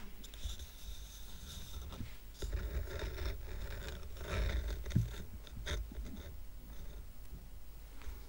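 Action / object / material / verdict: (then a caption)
scrape / stack of wooden coasters / wood / none. A stack of square painted wooden coasters with a red heart design, tied with red-and-white twine and solid, has its top surface tapped and scratched with fingernails. Quiet, dry scratching and scraping rasps run throughout, broken by soft taps and one sharper knock around the middle. Each tap dies away quickly with almost no ring.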